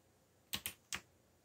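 Fingertips press keys on a backlit mechanical computer keyboard with black plastic keycaps, giving three quick typing taps. The first two come close together and the third follows after a short pause. Each click is bright and clacky, centered around 2.9 kHz, with almost no low end and a very short decay into quiet.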